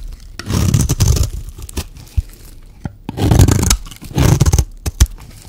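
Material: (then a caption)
Soap. A metal utility-knife blade shaves a solid white, dry bar of soap, producing low, rough scraping and crunching in three longer strokes. Short, sharp clicks sit between the strokes.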